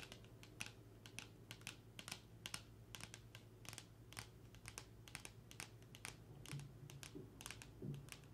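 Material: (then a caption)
Cardboard. Long nails tap rapidly on a small, flat, closed eyeshadow palette made of black printed cardboard, held in both hands. The result is a quick run of light, dry clicks with a very short decay over a steady low hum.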